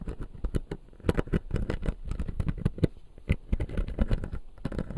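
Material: Plastic.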